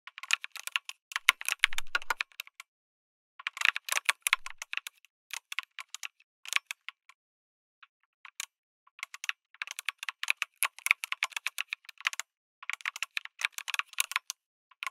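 Fingertips type on a backlit mechanical keyboard with a white case and red and grey plastic keycaps. Rapid bursts of sharp, bright clicky keystrokes are broken by short pauses, and each stroke dies away almost instantly with little low end.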